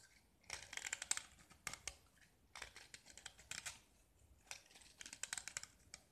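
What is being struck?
Painted gypsum brick.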